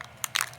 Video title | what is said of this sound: PATIO FURNITURE : STOP RUST in it's tracks | you can hear that ball